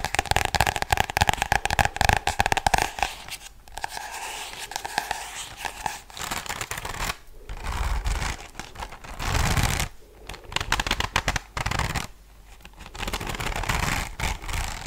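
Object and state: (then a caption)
Spiral notebook with cardboard cover. Long blue nails tap and scratch across the glossy tie-dye cardboard cover of a small spiral-bound "To do list" notebook held in the hands. Quick, dry clicking taps come first, then give way to rough, bristly scratching strokes that rise and fade with short pauses between them.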